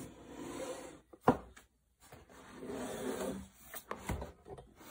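Bare fingertips and hands rub and tap a large, hollow brown corrugated cardboard box for a Huawei MateBook D16, with a carry handle, apparently still holding the laptop and lying flat on a dark desk. Soft, dry scratchy rubbing gives way to one sharp, hollow knock, then a brief silence. More rubbing follows, ending in a few lighter, quick taps.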